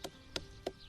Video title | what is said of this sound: 《喜新不厭舊 雲林二崙》客家新聞雜誌第897集 | The sound is that of a drum.